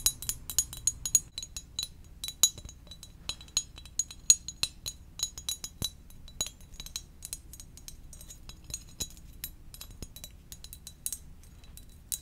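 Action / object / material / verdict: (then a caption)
tap / ceramic mug / ceramic / none. Gentle tapping on a ceramic donut-shaped mug makes a quick series of bright, high clinks. Each tap dies away almost instantly over a faint low background hum.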